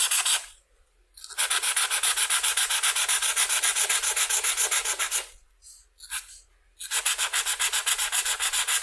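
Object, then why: Felt-tip marker on a paper sheet. A red felt-tip marker is scrubbed in short strokes across the lower left wing of a butterfly on a flat white paper coloring sheet lying on a table. It makes a bright, scratchy rubbing in a steady rhythm of nearly four strokes per second, in three long bursts separated by short pauses with a few faint scrapes between them.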